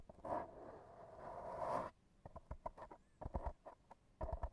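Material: Foam.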